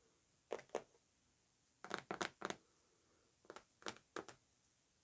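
Long nails tap and scratch the surface of a large, white, closed and hollow Narcotica cardboard perfume box lying flat on fur. Dry, papery clicks come in short groups: a pair, then a quick run of four, another run of four, and a last tap, with quiet gaps between. Each tap dies out almost at once.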